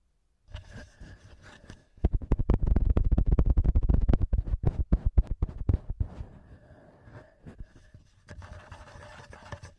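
Fingertips and short nails tap and scratch the two small cylindrical metal X-Y microphone capsules, with red and silver rings, on a hard black TASCAM handheld recorder. Soft scratching gives way to a dense run of rapid, dull, low-pitched taps with a deep thump, then returns to light scratching and a few scattered taps.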